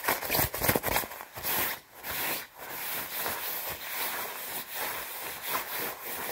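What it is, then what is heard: Nylon puffer jacket being scratched. Long red-painted nails and palms rub and scratch the sleeves and chest of a worn white quilted nylon down jacket, padded and hollow-feeling. Fast, irregular bursts of bright, crinkly scratching and swishing rustle blend into a steady stream of dry, papery friction noise.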